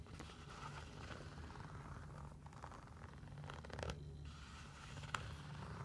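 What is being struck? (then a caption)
Mesh fabric sneaker. A single hollow sneaker with a blue striped mesh upper and orange laces is scratched and rubbed with long nails across the upper and laces. The result is a quiet, continuous rough scratching and rustling with a low rumbling texture underneath and a few brighter raspy strokes.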